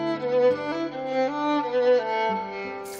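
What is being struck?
Nothing is struck.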